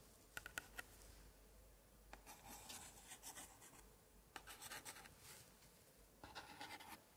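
A thin pointer held in a white-gloved hand taps and scratches over the aged paper of an open 1880s antique scrapbook, across its glued paper picture cards. Four quick, sharp taps open the clip, followed by three bursts of dry, bright, raspy scratching and rubbing, all at a quiet level.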